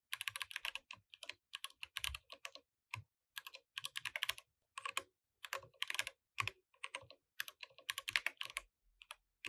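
Fingertips from both hands type steadily on a compact mechanical keyboard with plastic keycaps. Bursts of short, bright clicks and clacks arrive in quick runs separated by brief pauses, each keystroke dying away almost instantly, with a faint low thump under some presses.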